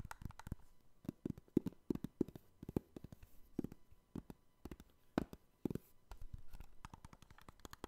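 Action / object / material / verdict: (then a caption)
tap / clear hard plastic trading card cases / hard plastic / none. Fingertips tap and scratch the top and front surfaces of a hollow, clear hard plastic card case holding NBA trading cards. The result is a rapid, irregular run of short, dry clicks and taps with faint scratching between them. Each sound is mostly low and mid-pitched and dies away almost instantly.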